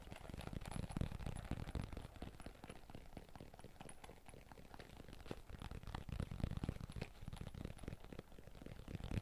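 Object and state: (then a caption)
Fabric-covered hard-shell carrying case. Fingertips rapidly speed-tap a hollow, red, zippered hard-shell carrying case covered in fabric, held close to the microphone. The sound is a dense stream of soft, low, muffled thuds with very short decay, swelling and easing in loudness throughout.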